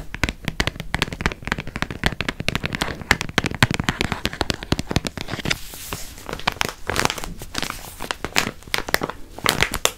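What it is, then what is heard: Crinkled plastic cookie wrapper. A yellow, partly opened crinkly plastic wrapper from wrapped cookies is squeezed and crinkled with fingers close to the microphone. Dense, sharp crackles and crinkles spread from low thuds up to bright, high hiss. A rougher, noisier stretch comes around six to eight seconds.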